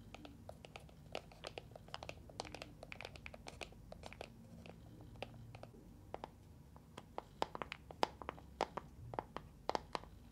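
A small neon-green plastic box with a handle, full of gel water beads, is held in both hands, tapped with long nails and shaken. Dozens of short, crisp clicking taps with a hollow plastic tone around 870 Hz sound over a soft, low rolling rustle from the beads. The taps come faster and louder toward the end.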